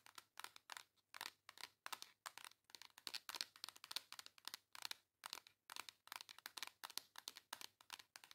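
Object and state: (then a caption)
Cardboard makeup palette. Long acrylic nails tap and scratch the embossed cardboard cover of a flat, rectangular pink makeup palette. The result is a quiet, rapid run of short, dry, bright scratching bursts with crinkly texture, no low end and no ring after each stroke.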